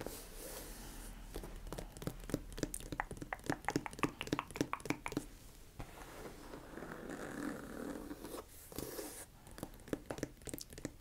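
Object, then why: Leather boot shaft. Long nails tap and scratch along the shaft of a tall, dark brown, smooth leather boot, held upright, hollow and empty, near its zipper. Quick, dry, irregular taps come in bursts, broken by softer, hissy scratching strokes across the leather. The taps have a slight hollow body and die away almost instantly.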